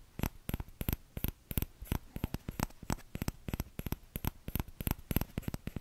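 Fingertips tap the empty bowl of a small orange plastic ladle held close to the microphone, giving about thirty short, dry taps at an uneven pace. Each tap is a quick, muffled thud with a bright click on top, and it dies away almost instantly.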